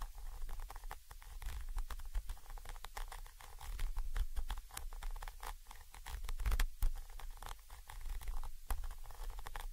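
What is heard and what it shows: A thin orange stick rapidly taps and scratches the side of a Zoom H5 XY microphone capsule, a small chrome metal body with mesh grilles. The result is a dense, continuous patter of short, dry clicks and scrapes with a heavy low thump underneath.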